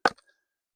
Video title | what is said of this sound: How long until this firewood is DRY? | you can tell by the sound, it is sounds like a dud. And I think it's wet because it's punky.